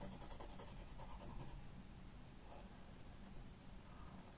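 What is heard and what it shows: A graphite pencil held in the fingers sketches flower outlines on a white paper sketchbook page lying flat on a wooden table. It makes a quiet, continuous scratching across the paper surface, with soft, uneven strokes at roughly four per second. The sound is dull and low-weighted, with a faint bright hiss above.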